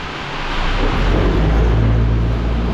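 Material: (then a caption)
Steel. A vibrator runs on bin one, a metal grain feed bin, to check whether it still holds feed. It makes a steady, deep rumbling buzz that swells in the first half-second and holds, mostly low with little high content. By the hollow sound the bin is judged empty.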